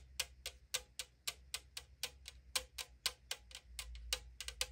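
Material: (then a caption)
Aluminum. Long decorated nails tap rapidly on the side of a hollow 500 ml AriZona green tea aluminum can. Nineteen bright, sharp clicks land at an uneven pace of about two per second, each dying away almost instantly, over a faint low hum.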